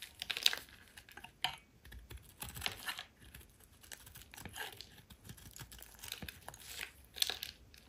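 A metal utility blade shaves and scrapes chunks off the corner and edges of a solid rectangular yellow soap bar held in the hand, leaving crumbled shavings beside it. Quiet, bright, crisp scraping and crinkling strokes come in short bursts with almost no low end and no ring after each cut.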